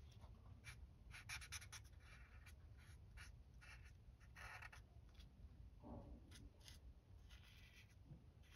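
The felt tip of a white alcohol marker, held in the fingers, rubs and scratches across a flat sheet of white printed paper on a table while coloring a page in purple. Soft, bright, scratchy strokes come in uneven bursts over a steady low background hum. The marking stays quiet and continuous throughout.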